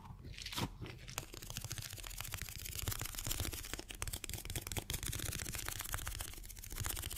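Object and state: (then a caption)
Rubber stress ball filled with water beads. A small, colorful rubber stress ball filled with water gel beads is held in one hand and quickly tapped and scratched by the fingertips of the other. The result is a dense, fast stream of crunchy, crackling taps and scratches with a bright edge and a soft, low thump beneath, continuing steadily for about seven seconds.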